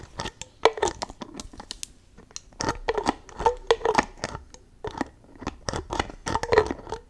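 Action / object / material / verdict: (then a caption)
tap / plastic spray bottle with cap / plastic / none. Long nails tap, pull and twist the white cap and nozzle of a clear plastic spray bottle filled with pink liquid. Clusters of sharp plastic clicks and scratchy, crinkling scrapes come in uneven bursts with brief pauses between them. Each sound is dry and dies away almost instantly.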